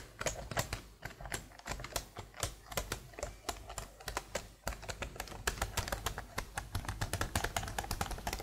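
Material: Plastic.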